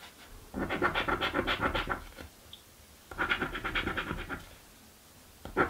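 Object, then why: Coin scraping a cardboard scratch-off ticket. A coin scratches the coating off a thin, flat cardboard crossword scratch-off lottery ticket resting on a wooden table. Three bursts of rapid, rasping strokes are heard, each a gritty papery scrape centered around 1.4 kHz, with quiet pauses between them and the last burst starting just before the end.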